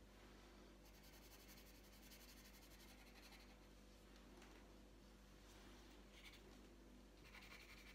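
The tip of a green wooden coloured pencil rubs across a thin, flat sheet of printed colouring paper lying on a tabletop. Quiet, continuous scratchy strokes carry a faint bright hiss over a steady low hum, with slightly sharper, brighter scratches near the end.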